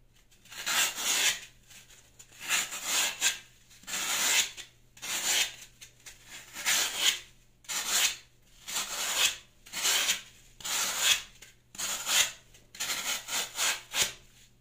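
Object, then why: Green floral foam block. A solid green floral foam block, held in the hand, is shaved with a Y-peeler blade in a scraping, peeling action, with a pile of foam shavings below. Repeated dry, rasping strokes sound bright and airy, each one separated by short quiet gaps.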